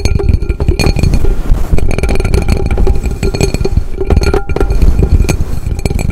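An upside-down hollow aluminum cooking pot has its base and sides tapped with fingertips and nails. The result is a dense, rapid patter of short, deep drum-like thuds with faint bright metallic pings ringing over them. Each tap dies away almost instantly.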